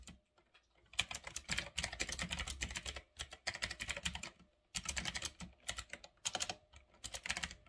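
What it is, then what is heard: Mechanical keyboard with round plastic keycaps being typed on. Fingertips type on a full-size retro typewriter-style mechanical keyboard with round black plastic keycaps on a metal-look frame. Quick bursts of bright, clicky keystrokes come in runs separated by short pauses, each click sharp and dying away almost at once.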